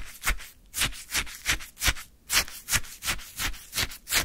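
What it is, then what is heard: Frozen sherbet scraped with a wooden stick. A flat wooden stick scrapes and scoops the surface of icy orange shaved sherbet filling a small paper cup. It makes a steady series of short, bright, crunchy scrapes, each one rising and fading with a soft low thump underneath.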